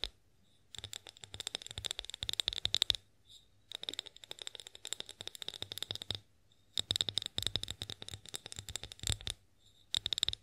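Long nails tap and scratch a tall, clear, hollow glass olive oil bottle labelled "OIL BOTTLE", which is mostly empty. Rapid, bright clicks and scrapes come in three bursts separated by short pauses. A faint high glassy ring lingers between the taps.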